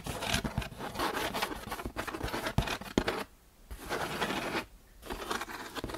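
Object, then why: Corrugated cardboard box. An open hand and fingertips tap, rub and scratch across the front face of a large, closed, hollow corrugated cardboard shipping box sitting on a shelf, with its contents not visible. A dense, papery scratching and rubbing runs through the clip, punctuated by dull, hollow taps, and it pauses briefly twice before resuming.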